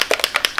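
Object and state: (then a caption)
Sunscreen bottle shaken to mix its contents. A bottle of tinted mineral SPF 50 sunscreen (physical, chemical-free) is shaken to mix its ingredients. Four quick, bright rattling clicks are heard, each dying away almost at once. Once mixed, the sunscreen comes out more liquid than other sunscreens.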